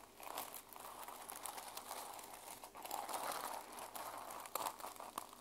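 Long nails scratch and brush across the plastic sequin cover of a small mermaid sequin journal held flat in one hand. The result is a quiet, continuous dry crinkling and scratchy rustle centered in the midrange with bright, crackly edges, plus a few sharper ticks near the end.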